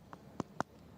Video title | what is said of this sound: Lanka Premier League 2020 12th Match Live // DH vs GG Live // LPL T20 Live // Srilanka Cricket Live | this sounds Hollow so it tells me that the base of the pitch has retained a lot of moisture